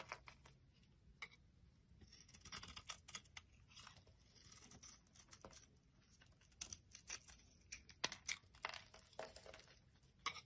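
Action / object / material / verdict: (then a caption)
scrape / bar of soap cut with a blade / soap / none. An orange soap bar held in the palm has its surface sliced and scored with a box-cutter blade. The result is a quiet run of crisp, bright scraping and crackling cuts, with short sharp ticks and brief rasping strokes over a faint low hum.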